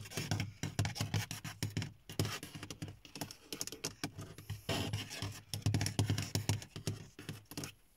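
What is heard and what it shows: Fingertips and long nails tap rapidly across the large, dark grey textured plastic top of a car dashboard, a hollow panel. Each short tap gives a low hollow thump with a bright, crisp click of the nails, with brief pauses between flurries.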